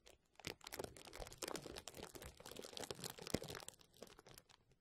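A large sheet of clear plastic bubble wrap with hollow air cells, draped over the microphone, is pressed and scratched by fingertips and nails. The result is dense, continuous crinkling and crackling with bright, short clicks and no ringing. One sharper crackle stands out near the end.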